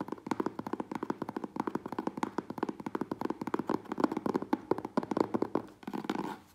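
A medium, closed corrugated cardboard Priority Mail box is tapped rapidly with fingertips and nails across its front and sides, with scratching mixed in. It gives a quick stream of dry, hollow, papery taps centered in the low-mid range, each dying away almost instantly. Near the end the taps blur into a softer, continuous scratching rustle.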